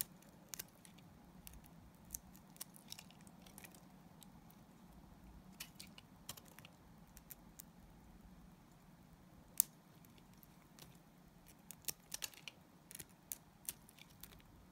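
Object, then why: Glycerin soap bar cut with a blade. A solid translucent blue glycerin soap bar is held in the hand and shaved with a utility knife blade. Quiet, steady scraping is broken by sharp, bright crackling snaps, with a louder snap near the middle and a cluster toward the end.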